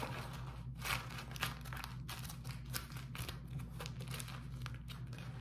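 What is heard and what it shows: A sheet of beeswax-coated cotton food wrap is held flat, then crumpled in the hand and rubbed between the fingers. Irregular crisp crinkles and soft rubbing rustles are heard over a steady low hum. The bursts come at an uneven pace.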